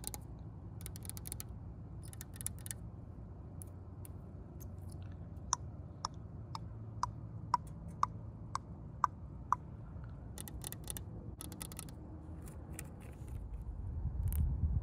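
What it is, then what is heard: Alloy car wheel rim. Long pink nails tap and scratch on the spokes and centre cap of a large multi-spoke aluminium alloy wheel on a McLaren GT. Bursts of dry scratching give way to a steady run of short, sharp metallic ticks ringing around 1 kHz, roughly every half second, then more scratching. A low rumble sits underneath throughout and swells toward the end.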